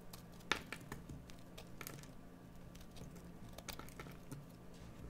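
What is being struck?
Bar of soap carved with a metal knife.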